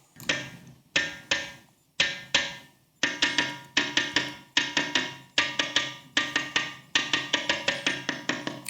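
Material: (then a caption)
Stone. The Balephetrish ringing rock, a large boulder on the island of Tiree, Scotland, that bears many marks from generations of striking, is struck in a rhythmic series of hits that grows quicker and denser toward the end. Each strike gives a bright, ringing percussive tone centred near 1.9 kHz, with almost no low end and a short decay, a surprisingly musical sound for a big piece of rock.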